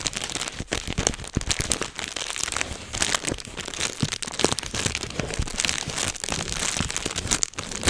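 A thin, light sheet of clear plastic bubble wrap with air-filled bubbles is held close and squeezed and popped with the fingertips and fingers. The result is a dense, continuous run of sharp, bright pops and crinkles with very short decay.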